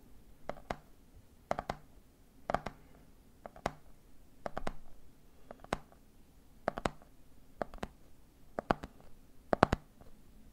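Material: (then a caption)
Plastic. A hand holds a medium clear plastic jar full of peanuts, capped with a red plastic lid, and taps its side in quick clusters of two or three, about ten clusters at roughly one-second intervals. Each tap is a short, dry, hollow plastic knock centered in the mid range. It dies away almost instantly against a quiet, low background.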